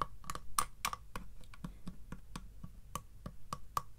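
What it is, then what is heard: Wooden box with metal bands. Fingertips tap on the front of a small hollow wooden treasure box with metal bands and a metal latch, its lid closed, striking both the wooden panels and the metal straps. The result is a quick, uneven series of short, dry knocks with a hollow tone near 1.1 kHz, a low body and brief clicky tops that die away almost instantly.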